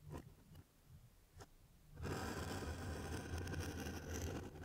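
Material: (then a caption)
Cardboard. A gloved hand holds a small, closed, hollow brown corrugated cardboard mailer box sealed with clear tape while a craft knife blade scrapes and slices along the taped seam. A few faint, separate scratches come first, then about halfway through the cutting turns into a steady, louder rasping scrape with a low hollow rumble from the box.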